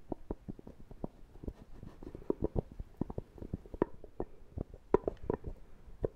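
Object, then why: Plastic tub lid. Fingertips and nails rapidly tap the screw lid of a small, round, apparently full plastic shaving cream tub. The result is a quick, uneven run of dull, hollow knocks centred around 400 Hz, with some sharper nail clicks mixed in. Each tap stops almost instantly, with no ring.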